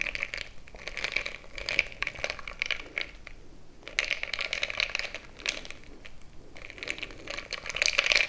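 A bamboo stick is stirred into crushed ice filling a frosted glass mason-jar mug, making bright, dense crunching and crinkling with glassy clicks concentrated around 2 kHz and little low end. The crunching comes in bursts with brief quieter pauses near the 3.5 and 6.3 second marks, and grows busier and louder toward the end.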